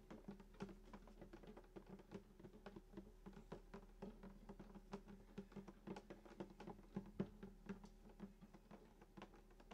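Both hands tap the wooden top of a hollow sunburst acoustic guitar, lying flat, just below the bridge with fingertips and short nails. A quick, uneven patter of soft, short taps follows, each with a brief hollow body resonance that rings low and dies almost at once.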